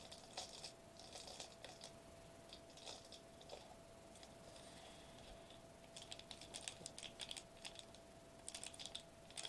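Fingertips tap rapidly on the bubble surface of a foil bubble wrap sheet, first held upright and then laid flat on a table. Quick, bright, crinkly ticks come in scattered bursts, like light typing, over a faint steady tone near 650 Hz. The clip is quiet overall, and each tap dies away almost at once.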